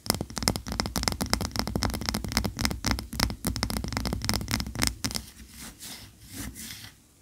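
A large cream solid wax pillar candle lies on its side on a towel and is scratched and rubbed with long nails. Fast, irregular dry clicks and scrapes come in dense bursts for about five seconds. Then they thin out into softer, breathier rubbing with a low hum underneath.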